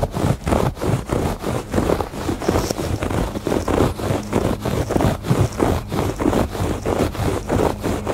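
Fingertips and nails scratch and scrape across the ribbed surface of a woven fabric rug. Repeated, uneven rasping strokes come in a steady stream, each a dry, rough burst weighted toward the low and middle range with little brightness.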